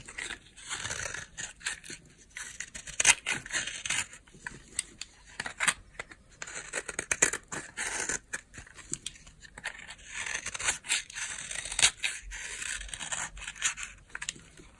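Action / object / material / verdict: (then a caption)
scrape / bar of soap scraped with a blade / soap / none. A utility knife blade scrapes a solid, palm-sized oval bar of dry white soap, shaving off powdery curls. Repeated dry, bright scraping and crisp rasping strokes come in uneven bursts, with almost no low end and quick, dead stops between strokes.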